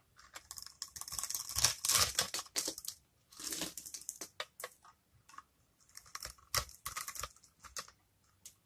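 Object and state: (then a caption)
Dry soap bar, crisp when cut. A hand-sized, solid yellow dry soap bar held in the palm is cut and scraped with a small metal blade, shaving off crisp small cubes. Bright, crackly scraping and snapping cuts come in irregular bursts, with short dry clicks between them and quiet gaps.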